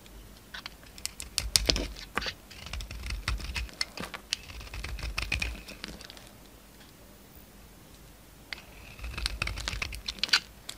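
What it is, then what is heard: Soap bar scraped with a knife. A utility knife scrapes crumbly flakes off a solid oval soap bar, with a green outer layer and a white core, held in the hand. Dense bursts of crisp, bright crackling and scratching come in two stretches, separated by a quiet pause near the middle.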